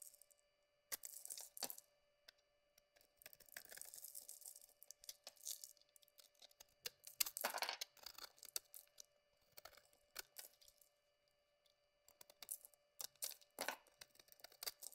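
A utility-knife blade shaves and scrapes curls off the surface of a solid white bar of soap held in a hand with dark red nails. Crisp, bright scraping and crackling strokes come in short bursts separated by quiet pauses, with almost no low end.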